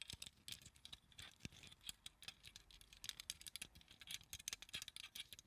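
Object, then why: Small plastic flower claw clip. A small translucent pink plastic flower claw clip, held in both hands, is rapidly tapped with long acrylic nails. The result is a quick, irregular patter of bright, dry plastic clicks centered around 3.8 kHz, with almost no low end and no ring after each tap.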